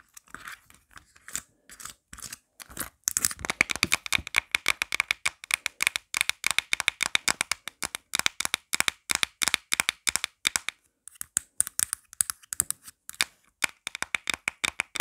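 Long black nails tap fast on the back of a marble-print plastic phone case with a pop grip, held in hand. Dense streams of sharp, bright clicks with almost no low end start in scattered bursts, then become near-continuous before thinning out again. The clip ends with quick clusters of taps separated by short pauses.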